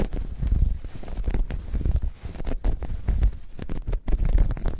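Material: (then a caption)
Knit fabric. A dark grey ribbed knit fabric bag, soft and hollow, is scratched and squeezed with long nails. The result is a steady run of deep, muffled, rumbling scratches with dense low-end texture and quick crackly bursts, with no bright top.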